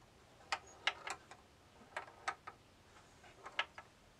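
A small steel ball rolls across a rectangular bamboo tilt-maze board, about 30 cm across with raised wooden walls and holes, set in a hollow wooden box frame and tilted by turning the side knobs. About eleven sharp, bright clicks are heard as the ball strikes the wooden walls, each dying away almost instantly against a quiet background.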